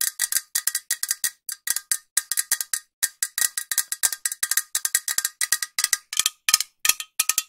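A green metal aerosol spray can with a white cap, held upright, is tapped with long nails in quick, uneven bursts. Each tap gives a short, bright metallic click with almost no ring and no low end.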